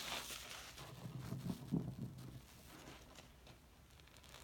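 A hand-sized, porous yellow cellulose sponge, wet and covered in soap foam, is rubbed, pressed and squeezed by fingertips over a sink full of suds. Soft, wet crackling and squelching come in irregular bursts, loudest in the middle with a low tonal squish near 170 Hz, then fade to a quieter fizzing hiss.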